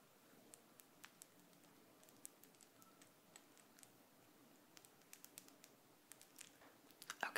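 A small, thin, solid gold-tone metal hook earring is held up between the fingers and tapped and scratched with long decorated acrylic nails. Quiet, bright little clicks and ticks are scattered over a soft scratching hiss. The taps grow denser and louder toward the end.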